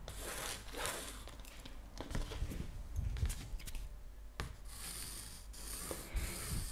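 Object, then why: Paper map sheet rubbed with a pencil. The tip of a wooden pencil is traced and rubbed across the surface of a thin, flat printed paper map sheet held up in one hand with long blue nails. It makes a soft, continuous scratchy rubbing with light papery crinkles and brief sharper scrapes over a steady low rumble.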